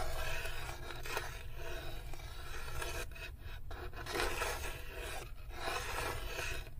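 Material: Wood.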